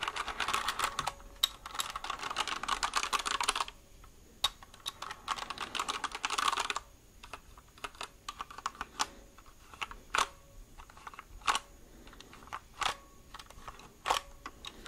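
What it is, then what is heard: Mechanical keyboard being typed on. A white plastic mechanical keyboard is typed on with fingertips, producing two dense bursts of rapid, bright clicking in the first seven seconds. Slower, separate keystrokes follow, each a short, sharp click that stops almost at once.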